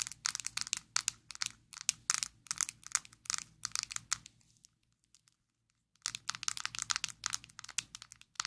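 Long acrylic nails tap and scratch a small square black plastic Maybelline Fit Me loose powder jar, hollow and filled with powder, held in both hands. Rapid, bright, dry clicks and scratchy crinkles come in quick bursts with no ring after each hit. The tapping stops into near silence for about a second and a half, then resumes at the same brisk pace.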